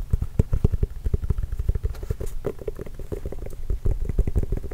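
Fingernails tap and scratch across a hollow, inflated, full-size orange signed Spalding leather basketball with a Trail Blazers logo. The result is a quick, irregular run of dull, low, muffled thuds with almost no high-frequency content and very little ring, with soft scratching filling the gaps.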